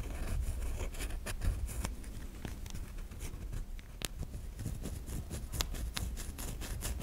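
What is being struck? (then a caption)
Bar of soap. Long nails scratch grooves into the surface of a white solid bar of soap held in the hand. The result is a steady run of soft, dry scratches and light taps over a low rumble, with brief, bright clicks standing out.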